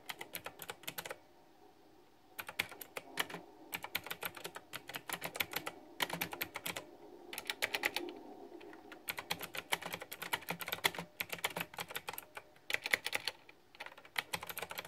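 Fingertips type in bursts on a backlit, pink flower-themed plastic retro typewriter-style mechanical keyboard with round keycaps, producing rapid, bright, clicky key taps with very short decay. The bursts are separated by brief pauses, with a faint low hum underneath.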